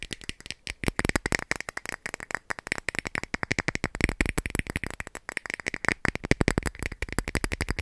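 A clear plastic cap is tapped in a fast, continuous stream of short, dry clicks. Each tap dies away almost instantly, with a bright ring around 2 kHz over a soft low thump.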